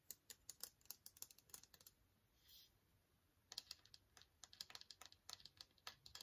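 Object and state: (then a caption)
Clear plastic case tapped with fingernails. Fingernails tap along the length of a long, slim, hollow and empty transparent hard plastic case, making about thirty quick, bright, dry clicks with almost no ring. The tapping comes in two bursts separated by a short quiet gap holding a soft, brief hiss.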